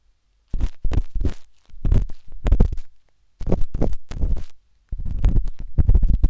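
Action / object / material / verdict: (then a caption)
scrape / silicone ear of a binaural microphone / silicone / none. The metal tip of a wooden-handled dot stick scratches inside the ear canal of a soft, solid, pale pink silicone ear on a binaural microphone. It makes deep, muffled scraping and rubbing close to the microphone, almost entirely low in pitch, in four bursts of rapid strokes separated by brief silences.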